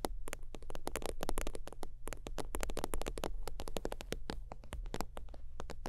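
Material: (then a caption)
Synthetic leather. Long teal nails tap rapidly across the top of a holographic faux-leather zip wallet lying flat. The result is a fast, dense run of short, crisp clicks with almost no ring, over a steady low hum.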